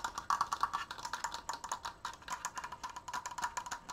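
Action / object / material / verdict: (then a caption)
tap / wooden slat frame / wood / none. Fingernails and fingertips tap quickly on the wooden slats of a large, open triangular triforce frame held upright. The result is a rapid stream of short, dry, woody clicks with a hollow tone around 1.1 kHz. Each tap dies away almost instantly, and there is little low end.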